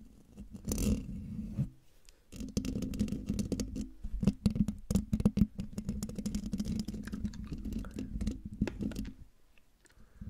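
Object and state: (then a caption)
Metal mesh microphone grille. Long dark nails of both hands scratch the hollow metal mesh grille of a silver condenser microphone, producing a close, dense stream of scratchy rasps and quick clicking ticks over a low, steady hum. The scratching pauses briefly near the two-second mark, resumes in busy bursts, and fades out quietly at the end.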